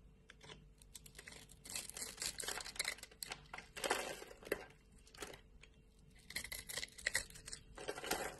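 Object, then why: Soap bar cut with a knife blade. A solid light-green bar of soap, pre-scored and held in the palm, is sliced and scraped into thin layers with a utility knife blade. Quiet, bright, crisp scraping and crackling comes in uneven bursts, with sharp flaking snaps as each thin layer peels away.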